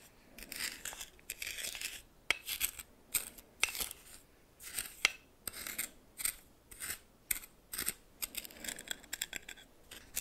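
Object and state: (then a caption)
Coarse salt scraped in a small bowl. A red plastic spoon, held in the fingers, stirs and scrapes a pile of white coarse salt in a small bowl that appears to be glass. It makes repeated bright, scratchy crystal scrapes in short bursts, with sharp clicks and gritty rasps and quiet pauses between strokes.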